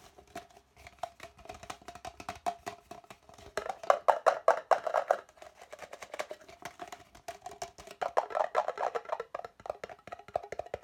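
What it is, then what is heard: Empty plastic cup. An empty, hollow red plastic party cup is held in both hands and tapped quickly with the fingertips and nails along its wall. The result is a fast, irregular run of short, dry clicks with a hollow, mid-pitched ring. Louder flurries come around the middle and near the end.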